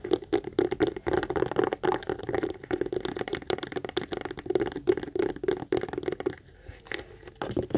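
Long acrylic nails rapidly tap and scratch the front and side panels of a hollow, medium brown pebbled-leather Michael Kors tote. The result is a dense stream of dry, crinkly clicks and scrapes with a hollow mid-range tone around 360 Hz. The sound eases into softer scratching near the end before a few final taps.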